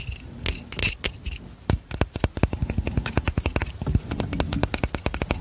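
Long manicured nails tap and scratch the light wooden frame of a hand-sized glass hourglass filled with yellow sand, held in one hand. A rapid, uneven series of many short, dry clicks and taps with brief scratchy strokes is heard, each hit dying away almost instantly with a dull low body and some bright edge.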